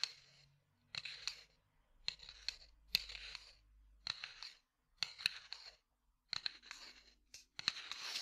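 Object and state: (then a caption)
Cardboard matchbox. A small red and white cardboard matchbox, held next to the mic, is tapped and scratched with fingertips and nails. Short clusters of dry, crisp taps and scratches come in bursts separated by brief silences. The sound is bright and papery, with almost no low end and no ring after each tap.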